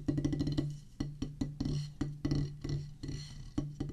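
A solid oval drum practice pad with a black rubber top on a pressboard/wood base is drummed with wooden drumsticks. A quick burst of rapid strokes gives way to more spaced, uneven hits. Each hit is a dull, low, muffled thud with a short decay and very little bright content.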